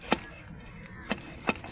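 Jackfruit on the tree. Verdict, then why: Ripe. A large jackfruit still hanging on the tree is knocked three times to check whether it is ripe, giving short, dull thuds with a bright click on top that die away almost at once. The knocks show the fruit is ripe.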